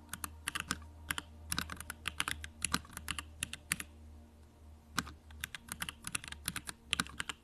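Both hands type on a compact 65% Bakeneko65 mechanical keyboard with Durock lavender switches, a pink aluminum case, plastic keycaps and blue backlight, resting on a desk. The result is a fast, uneven stream of short, bright keystroke clacks with almost no ring, over a faint steady low hum.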